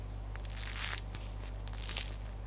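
The crunchy crust of a freshly baked, cut loaf of bread is pressed and handled, producing dry crunching and crackling with several sharp crackles. The crust sounds good and crisp.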